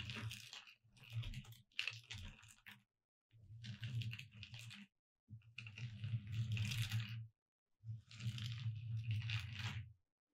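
Long red nails tap and scratch quickly at the letters of a thin, solid, gold glitter-coated foam "Merry Christmas" cutout sign lying flat on a dark cloth. The result is a crunchy, rattly texture with a low rumble and a bright, gritty edge. It comes in four bursts separated by short silences.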